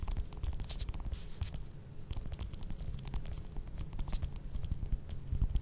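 Long red nails scratch the peel of a small whole orange, first resting on the table and then held in the hand. The result is a steady, soft scratching texture with quick bright crackles over a low, muffled rumble of handling.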